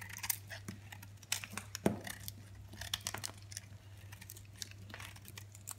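A utility knife blade scrapes and shaves flakes off a hand-held solid red soap bar with a white polka-dot coating. Quiet, dry scraping is broken by sharp, bright crackles and brief ticks as the flakes come away, over a faint steady low hum.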